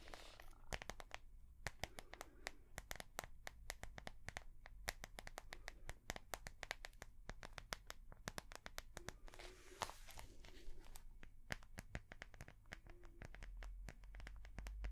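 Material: Soft plastic.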